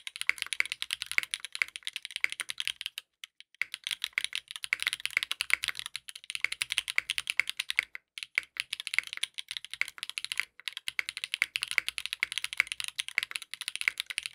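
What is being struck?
Mechanical keyboard with plastic keycaps.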